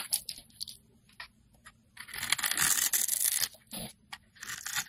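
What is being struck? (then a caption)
Soap bar cut with a metal blade. A metal blade slices and scrapes a solid multicolored blue, white, purple and pink bar of soap held in the hand, knocking flakes off. Short, crisp, bright scraping crunches come in quick, uneven bursts, swelling into a longer, denser shaving run in the middle before breaking back into short cuts.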